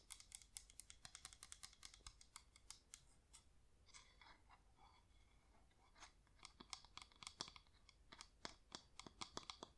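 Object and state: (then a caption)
Wax LED pillar candle tapped with nails. Long nails tap quickly on the rim and sides of a yellow wax flameless LED pillar candle held up with its top rim forward. Sharp, bright clicks come in fast bursts and die out almost at once, with a softer, scratchier stretch in the middle before the crisp tapping picks up again.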